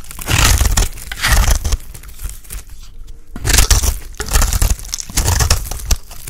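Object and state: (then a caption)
Dry bar soap being scraped. A utility blade is scraped across a solid, ridged white bar of dry soap held in the hand. Repeated coarse, crunchy shaving strokes come in bursts, with deep rumbling body and bright rasping edges, separated by a brief quiet pause midway.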